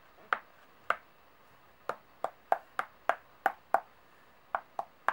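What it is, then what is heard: Metal coins. Long nails tap and shuffle a group of solid brass-coloured metal coins on a table. Twelve short, bright clicks ring briefly with a mid-range tone, spaced irregularly over a faint steady hiss.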